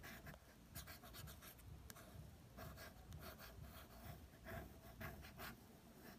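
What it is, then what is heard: Glossy paper magazine cover. A fingertip traces and lightly taps the cover image of a National Geographic "Bahamas Blue Holes" magazine with a thin glossy paper cover. The result is a quiet, continuous scratchy rubbing with soft dull taps and brief bright swishes over a low murmur.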